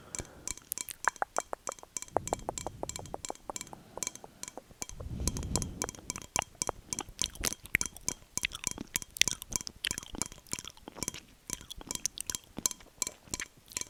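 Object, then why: Glass drinking glass. Large glass drinking glasses, received as a gift, are tapped in quick, irregular series of bright, sharp clinks. The taps ring high and die away almost at once, with brief low rumbles between some bursts.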